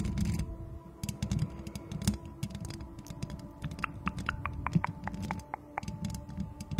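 Long acrylic nails quickly scratch and tap the hollow, perforated metal mesh head of a white microphone with both hands. The result is a dense, rapid stream of dry clicks, ticks and scraping rustles, heavy in the low end, with brighter sharp taps in the second half. Faint steady tones hum underneath throughout.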